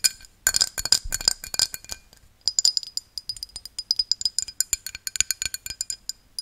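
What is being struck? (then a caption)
Glass drinking tumbler. A tall, empty, hollow pink-tinted drinking glass held in the hand is tapped and scratched with long dark-painted nails. It gives a rapid, uneven series of bright, crisp clinks with a faint high ringing tone that dies away almost instantly. Light scratchy rustles fill the gaps between taps.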